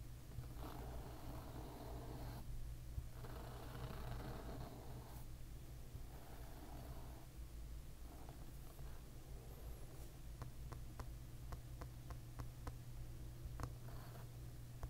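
Fingernails scratch and tap on the glossy, solid amber tortoiseshell plastic back of a hairbrush lying pins-down. Soft, rasping scratches in the first half give way to a series of short, crisp taps, all quiet over a steady low hum.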